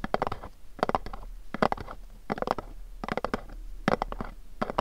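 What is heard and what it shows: Fingernails tap rapidly on the sides of a pink cube-shaped cardboard gift box. Short flurries of quick, dry taps repeat at regular intervals, with a hollow mid-toned knock and a soft low thud. Each tap dies away almost instantly, leaving brief quiet gaps between the flurries.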